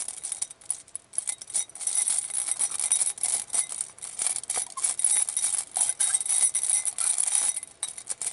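A clear glass bowl filled with small glass vials of glitter, beads and sequins is held by fingertips with long painted nails and shaken. It gives a dense, uneven stream of bright rattling and clinking, almost all high in pitch with no low end. Brief pauses break up the clicks throughout.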